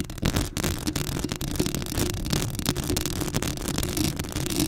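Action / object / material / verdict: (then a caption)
scrape / metal mesh microphone grille / metal mesh / none. Long acrylic nails scratch the hollow metal mesh grille of a black Blue Yeti microphone up close, making a dense, continuous rasping noise. The sound is heavy in the low end, with a steady tone near 360 Hz and a bright, hissy scrape over the top.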